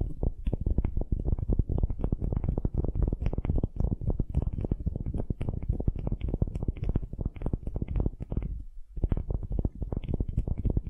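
A solid wooden ball held in both hands is scratched and tapped with long nails. The result is a dense, continuous stream of quick, dry taps and scrapes with a deep, muffled body. A brief lull comes near the end before the tapping picks up again.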